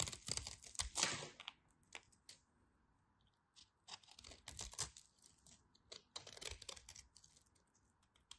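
A knife scrapes crisp crumbs off the scored face of a partly carved orange bar of dry soap. Bright, dry scratchy crunches come in short bursts, louder at the start and in the middle, separated by quiet pauses. Each scrape stops quickly with almost no ring.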